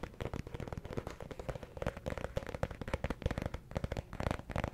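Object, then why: Paperback book with cardstock cover. Fingertips tap quickly on the cardstock cover of a small, solid yellow paperback affirmations book, held up in one hand close to the mic. The result is a rapid, uneven stream of short, dry, low thuds with almost no ring, plus a faint steady tone running underneath.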